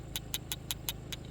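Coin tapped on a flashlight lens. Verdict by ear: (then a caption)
Real. A metal coin taps seven times on the front glass lens of an Olight Arkfeld Ultra flashlight, giving short, bright clicks that ring high around 3.5 kHz over a low background hum. The coin fails to scratch the lens, confirming it is glass rather than plastic.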